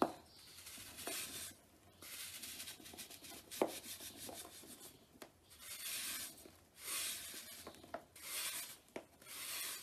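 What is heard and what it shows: A blade rubs and scrapes the surface of a large, solid, dried, powdery pale green soap block held over a tub, sending fine powder pouring down. Repeated dry, bright rasping strokes rise and fall, broken by short sharp clicks and brief quiet gaps.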